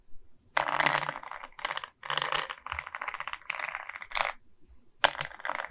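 Long red nails tap and scratch across the resin-bead face of a diamond painting on a wooden canvas board, then the board is tilted to show its top edge. Bursts of dense, dry, rattling clicks and scratches come in quick runs with short gaps between them. The sound sits in the mid-to-bright range and dies off instantly with no ring.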